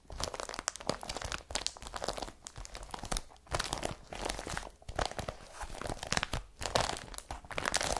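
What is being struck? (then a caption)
Woven polypropylene carrier bag. Long fingernails scratch an empty blue IKEA BRATTBY woven polypropylene carrier bag lying flat, making dense, crinkly, crunching rustles. The dry, broadband scraping comes in uneven bursts with brief pauses, bright and textured with almost no ring after each stroke.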